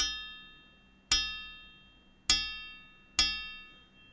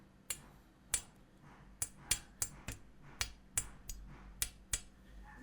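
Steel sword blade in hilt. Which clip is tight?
The first.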